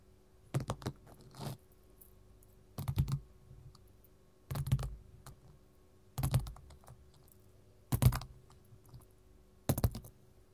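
A gold mat is tapped with metal finger-jewelry rings in six separate bursts of quick, clustered taps. The taps are soft and dull, with low thuds and a brief bright click at each strike that dies away almost at once, separated by near silence.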